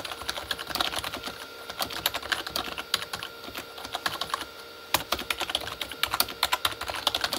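Both hands type fast with their fingertips on a full-size, hollow Corsair K35 backlit mechanical keyboard with plastic keycaps on a plastic body. The result is a quick, uneven run of short, bright plastic clacks that stop almost instantly, with a brief pause near the middle before the typing picks up again.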